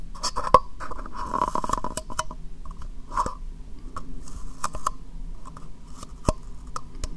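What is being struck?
Small plastic cup held upside down.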